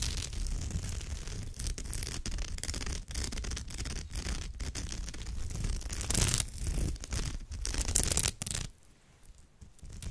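Long almond-shaped nails scratch back and forth along the tight weave of a hollow crochet-woven straw or raffia purse. The result is a dense, continuous raspy scratching with a low rumble underneath and brighter, louder strokes swelling near the six- and eight-second marks. The sound then drops to a quieter, softer scratching for the last second or so.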